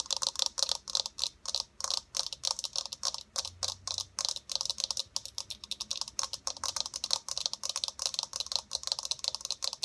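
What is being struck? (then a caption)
Plastic eyeball ball. A hollow white plastic eyeball sphere with a blue iris is tapped fast with long nails. It makes a steady run of dozens of quick, dry, bright clicks with no low end and almost no ring.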